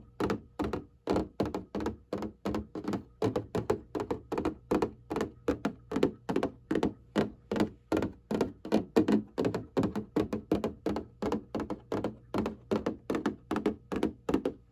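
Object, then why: Cardboard box of hanging folders. Long painted nails and fingertips tap and scratch the flat front surface of a printed cardboard box of hanging folders. The result is a quick, uneven run of about 66 dull, short thunks and taps, mostly in the low-mid range with a brief scratchy edge.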